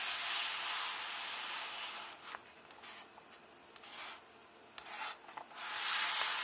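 Fingertips and nails rub and tap the paper pages of an open hardcover book, staying on the same text spread. Bright, hissy papery rubbing fills the opening two seconds, drops to a quieter stretch with a few short tapping and scratching sounds, then swells into loud rubbing again at the end.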